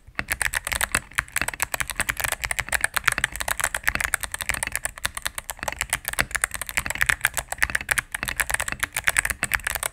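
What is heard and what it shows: A cream full-size mechanical keyboard with plastic keycaps on a solid plastic case is typed on rapidly with fingertips and medium nails. The result is a steady stream of short, dry, bright clacks centered around 1.7 kHz, with very little low end and no lingering ring.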